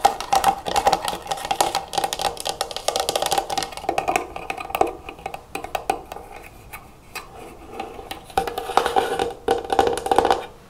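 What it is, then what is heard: Plastic canister of cotton swabs. Long nails and fingertips tap rapidly on the closed lid and sides of a clear plastic jar with a metal clasp, full of cotton swabs. The result is a dense stream of short, dry, hollow clicks centred around 800 Hz that die away almost instantly, with bright ticking on top. The tapping thins out in the middle and picks up again in quick bursts near the end.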